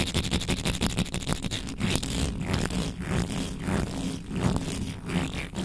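Long nails scratch aggressively near the top of the bare metal mesh grille on a black microphone. The result is a fast, continuous run of rough, bright scratching strokes over a heavy low rumble, with quick, rapid strokes at the start giving way to longer scrapes.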